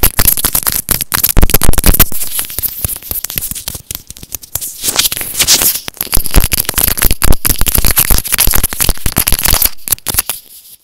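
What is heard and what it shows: A small white plastic earphone inline microphone, held horizontally in both hands, is scratched and tapped with fingernails. Dense, irregular, rapid crackling taps and scratches come through with heavy low thumps and a bright hiss. The sound cuts off to near silence at the end.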